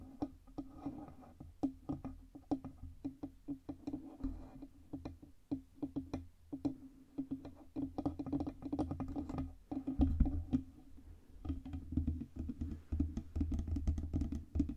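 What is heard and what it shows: Long red nails tap on the sides and stand of a black Blue Yeti USB microphone with a hollow metal body. The result is a steady run of short, dry clicking taps over a low, boomy hum, with some taps landing in quick clusters.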